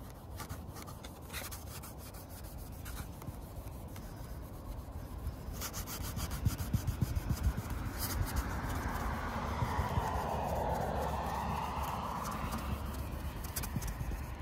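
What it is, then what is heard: Vinyl fence panel being rubbed. A hand rubs and wipes a cotton pad soaked in nail polish remover across a large, flat, hollow white vinyl (PVC) fence panel outdoors that has marker writing on it, pressing with the fingertips. It makes a soft, steady scrubbing rub with a deep low rumble underneath that grows gradually louder, with a breathier swishing wipe in the second half. Faint outdoor traffic may sit in the background.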